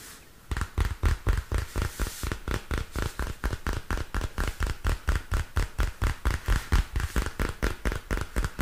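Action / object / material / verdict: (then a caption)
tap / spiral-bound paper notebook with plastic cover / plastic / none. Fingernails tap on the textured purple plastic cover of a small spiral-bound paper notebook held upright. About 37 quick, dull taps come in a fast, fairly steady rhythm, each a short low thump with a faint brighter click and almost no ring.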